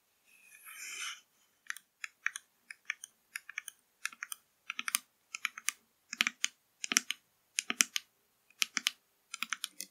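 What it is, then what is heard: Plastic drink bottle tapped with nails. Long nails tap rapidly on the labelled plastic body of a full 500 ml blue PRIME plastic drink bottle lying on its side. A brief soft, hissy scrape at the start gives way to quick clusters of crisp, bright clicks with almost no low end and no ring.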